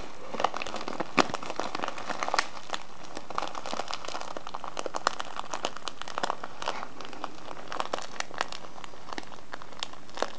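Fingertips and nails rub and crinkle a full brown kraft-paper tea package with a printed label and a clear plastic window showing loose tea. A steady, dense crinkling runs throughout, dotted with sharp, bright crackles and crisp snaps at an even, quiet level.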